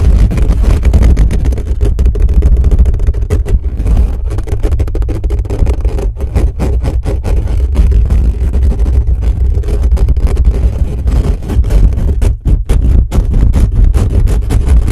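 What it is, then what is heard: Metal microphone grille being scratched. Fingertips rapidly and aggressively scratch and grip the bare, hollow metal mesh grille of a black condenser microphone from above and the sides. The result is a dense, continuous stream of deep, booming rumbles and scratchy rustles, heavy in the low end, with only brief dips around the twelve-second mark.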